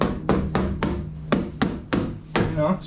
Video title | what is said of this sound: Cleaning Up Shop and Starting to Diagnose the 300zx Misfire! | this is the sound of metal